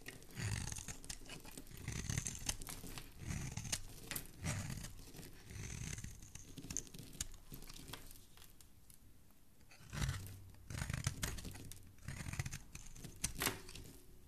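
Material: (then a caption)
Soap. A metal blade scrapes along the carved edge of a solid green bar of soap held in a hand, shaving curls off the corner. Repeated crunchy, tearing scrapes carry a soft low body and a bright, crackly edge. A quieter lull comes around the middle before the shaving strokes pick up again.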